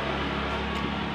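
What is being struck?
Nothing is struck.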